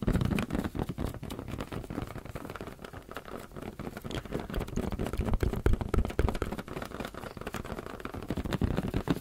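Fingers tap on a rubber balloon in a dense, rapid, uneven stream. Each tap is a short, dull, low thump that dies away almost at once, with almost no high content.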